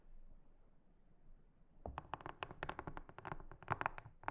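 A small silicone-headed brush brushes and scratches a large, flat, solid round blue silicone trivet mat with a honeycomb pattern lying on a table. After nearly two seconds of quiet, a quick series of dry, scratchy brush strokes follows, each short and crisp with a midrange rasp and almost no ring.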